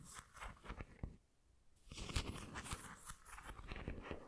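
A white ceramic pineapple figurine is held sideways while long nails scratch along its textured body. The result is a low, crackly scraping and crunching with short clicky bursts. A quiet pause comes about a second in before the scratching resumes more steadily.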